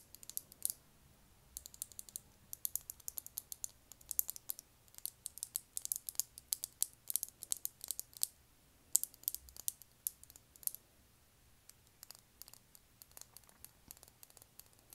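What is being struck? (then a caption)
Small plastic lip gloss tube with metal cap. A small clear lip gloss tube full of copper gloss, with a silver cap, is held upright and tapped with long nails. Quick, sharp, high-pitched clicks come in irregular bursts, dense at times and sparser toward the end, each dying away almost instantly.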